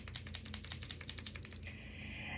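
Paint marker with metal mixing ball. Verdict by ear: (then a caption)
Loose. A new paint marker pen is shaken before its first use so the metal mixing ball inside can mix the paint. It makes a quick series of sharp, bright clicking rattles as the free-moving ball knocks around. After about 1.6 seconds the rattling stops and only a faint, steady high-pitched hiss remains.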